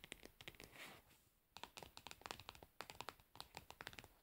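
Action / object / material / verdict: tap / plastic screw-lid jar / plastic / none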